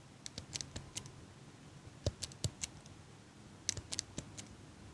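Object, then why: Small metal eyelash curler. A small chrome metal eyelash curler, held in one hand with long pink nails right next to the mic, has its handles squeezed and clicked while the nails tap its frame. About fifteen short, dry, bright metallic clicks and ticks come in scattered clusters, some with a soft low thump, over a quiet background.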